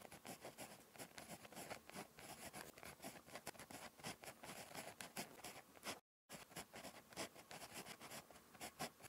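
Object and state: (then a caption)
Pen writing on a paper notebook page. A ballpoint pen tip scratches across a thin, flat lined paper notebook page while writing Korean handwriting. The result is a steady stream of dry, bright scratching strokes with quick, irregular pulses and a brief silent gap near the end.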